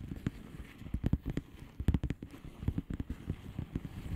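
A flat blue plastic bubble wrap envelope is tapped and scratched with long polished fingernails. Quick, dull taps sit mostly in the low range, with faint brighter clicks and a soft scratching texture between them. Each tap dies away almost at once.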